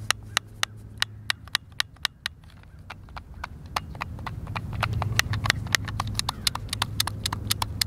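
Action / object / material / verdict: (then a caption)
tap / plastic game controller / plastic / none. A hand-sized, hollow white plastic Xbox controller is held in both hands while fingertips and thumbs press and click its buttons. The result is a quick, uneven series of short, sharp, bright clicks, roughly four per second, that stop instantly. A low rumbling background grows louder partway through.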